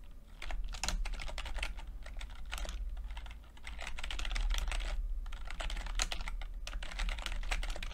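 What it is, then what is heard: Plastic computer keyboard being typed on. Fingertips of both hands type continuously on a full-size plastic computer keyboard with red and blue backlit keys and low-profile keycaps. Rapid, irregular clicky taps with short, bright clatter ride over a steady low hum throughout.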